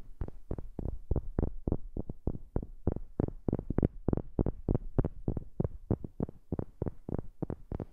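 Fingers or a tool tap rapidly on a wooden object, recorded up close with a new microphone. About thirty short, dull, low-pitched knocks come in a quick, uneven rhythm, each dying away almost instantly with no ring.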